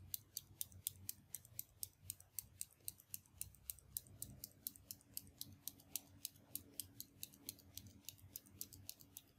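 A translucent dark plastic mechanical pencil, hollow, with a black rubber grip and metal tip, is held between the fingers over a wooden desk while a thumb or fingertip repeatedly presses its top button to advance the lead. About 46 quiet, sharp, bright clicks come at a steady, fast pace, each dying away almost instantly. A low background rumble runs underneath, and a faint steady hum joins it midway.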